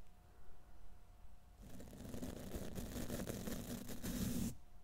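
A silver condenser microphone's hollow steel wire-mesh grille is scratched and brushed by hand with the stiff black plastic bristles of a wide tint brush. After a quiet start, a dense, rough scratching rustle begins at about 1.6 seconds with a low hum around 200 Hz and bright bristly texture. It builds steadily until it stops abruptly near 4.5 seconds.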